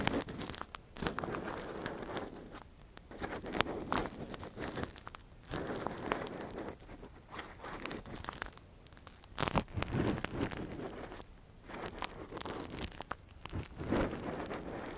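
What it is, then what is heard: Silicone ear microphone scraped with a metal earpick. A gloved hand scratches and probes inside the hollow ear canal of a soft, translucent, hand-sized silicone ear model (a binaural microphone cover) with a thin metal earpick. The result is close, dry scratching, crinkling and crackling, rising and falling in uneven bursts with brief quieter gaps.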